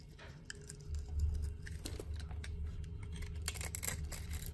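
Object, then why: Bar of soap scraped with a knife blade. A utility knife blade scrapes small cubes off the same solid orange soap bar. It makes a run of short, dry, crisp scratches and ticks with bright edges, over a steady low hum that swells near the one-second mark and then holds.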